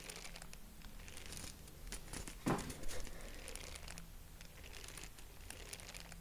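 Purple tissue-paper honeycomb is squeezed and fingered with the fingertips, giving a continuous soft, bright crinkling over a low steady hum. The crinkling swells briefly louder about midway through.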